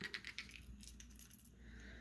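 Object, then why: Plastic crankbait fishing lure. A plastic crankbait fishing lure with a faint rattle chamber is shaken by hand, producing quiet, bright clicking rattles over a low background hum. The first few knocks stand out before blurring into a softer, steady rattle, a faint knocking sound.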